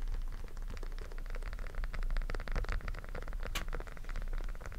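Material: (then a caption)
Silicone. A small, flat, rainbow silicone pop-it fidget toy with hollow bubbles is held in both hands while fingertips press and pop the bubbles. A dense run of soft, quick pops and scratchy rubbing goes on throughout over a steady low rumble, with one brighter, sharper snap near the end.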